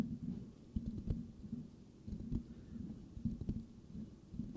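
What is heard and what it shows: The rounded, hollow metal mesh grille of a white microphone is lightly scratched with the fingertips of both hands. This makes soft, muffled scratching bursts, deep and rumbly with faint clicks. The scratches come in short, uneven swells that fade quickly between strokes.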